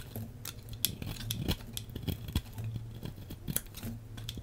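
A metal blade shaves a solid beige bar of soap in steady scraping cuts. Many short, crisp scraping clicks sit over a low hum, each with a bright, high edge and almost no ring.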